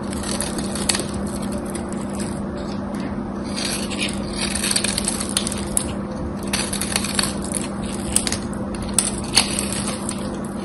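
A knife carves a solid, dry bar of soap with a gold coating, shaving off crumbly flakes. A steady, bright crackling and crunching texture runs throughout, with sharper snaps here and there over a constant low hum.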